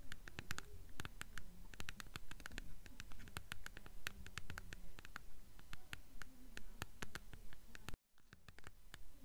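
Long nails tap and scratch along the paper spine of a blue paperback copy of *The Golden Compass*, held upright with its spine facing out. Quick, fairly regular dry taps mix with scratchy strokes over a low, muffled rumble. The sound cuts off abruptly near eight seconds before quieter tapping resumes, and the book itself is solid.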